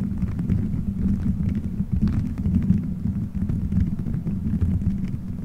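Fingertips squeeze, rub and scratch colorful gelatin gummy bears stuck all over a microphone head, forming a solid dome. The result is a dense, muffled low rumble with a steady hum around 190 Hz, threaded with soft sticky crackles and faint brighter ticks.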